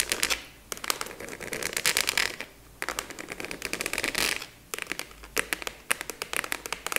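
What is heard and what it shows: A large, hollow, purple translucent plastic expanding file folder is quickly tapped with long nails. The result is a dense stream of sharp, bright clicks with almost no low end, coming in bursts separated by brief pauses.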